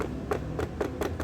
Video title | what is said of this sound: SOLUSI HILANGKAN BERISIK GETAR PADA PLAT NOMOR | udah bunyi spakbor biasa aja, ini bunyi plastik biasa, nggak ada bunyi besi beradu lagi